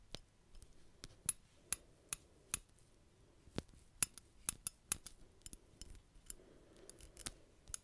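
Fingernails scratch and click the solid metal parts of a small metal buckle on a black belt, held just below the microphone. Sharp, bright clicks and ticks ring briefly at an uneven pace, with soft scratching in between.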